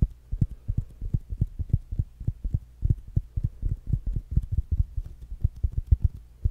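A small rounded black smart speaker with a fabric mesh cover and solid body is held in one hand and tapped with fingertips and short nails. A quick run of soft, dull, deep thuds follows in an uneven rhythm, each dying away almost at once over a faint low hum.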